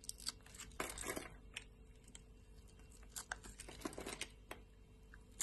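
A metal utility knife blade scores a grid into a solid rectangular bar of pink soap held in the palm, then scrapes and cuts off small cubes. Crisp, bright scraping and crackling cuts come in quick bursts over a faint low hum, with soft patter as pieces break free.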